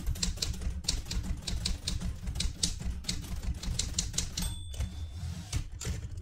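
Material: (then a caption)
Metal. Fingertips type on the keys of a light blue vintage portable manual typewriter with a metal body, and one hand reaches for the carriage lever. A quick run of sharp, bright key clicks sits over a steady low rumble, broken near the end by a short pause and a brief high ringing tone before the typing resumes.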